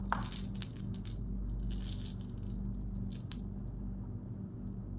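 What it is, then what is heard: Handful of sugar-coated candies. A handful of Skittles sugar-coated candies, small hard sugar-shelled pieces heaped in an open palm and cupped hands, are shaken and rolled together. They rattle in quick, bright crackling bursts over a steady low hum.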